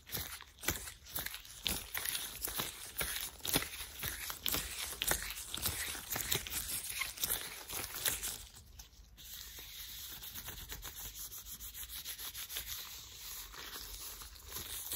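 Thin, disposable white latex gloves are pulled onto and worn on both hands, and the gloved fingers and palms are rubbed and stretched against each other. For about the first nine seconds, dense, bright crinkling and sharp rubbery snaps come in quick, irregular bursts. Then it settles into a quieter, steady rubbing hiss.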